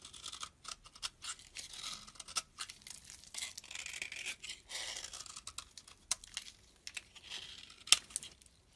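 A metal blade scrapes shavings off the edge of a solid amber-brown bar of soap held in the palm. Quiet, dry strokes repeat in quick succession with a crisp, bright rasp and almost no low end, each one dying away at once. One sharper, louder scrape stands out near the end.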